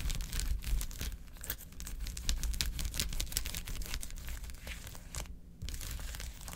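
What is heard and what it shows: Long acrylic nails quickly tap and scratch a large, flat blue plastic ice pad with many quilted gel-filled cells, lying on a table. Dense, irregular crackly scratching and tapping fills the clip with bright bursts over a low rumble, with a brief lull near the end before the scratching resumes.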